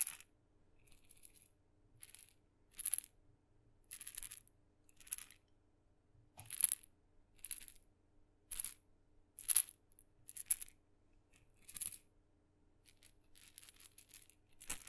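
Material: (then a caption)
Wood. A tiny red maraca with blue dots, a small painted wooden instrument with a glossy painted head on a wooden handle, is held by the handle in the fingertips and shaken beside the microphone, its hollow head rattling with loose filling. Short, bright, crisp rattling bursts come in quick, separate shakes of varying strength, over a faint, steady low hum.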